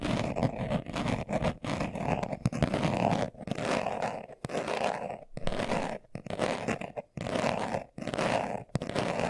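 A hand-sized, hollow, closed brown leather-covered glasses case is held in both hands while its surface is scratched fast with short nails and fingertips. Dense, rasping scratch strokes come in steady bursts separated by brief silent gaps, with a hollow low-mid body and a dry, textured top.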